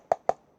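Two quick taps on an empty reproduction WW2 British cardboard ammunition/ration box give short, dry knocks with a hollow tone around 750 Hz. It sounds hollow because there is nothing inside it.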